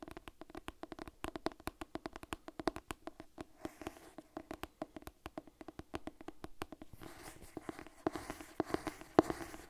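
Long nails tap quickly and repeatedly on the cover and spine of a purple cloth-bound hardcover Harry Potter cookbook held upright, giving short, dry, muted knocks centered around the low-mids. Toward the end, the tapping mixes with soft, hissy scratching across the cloth.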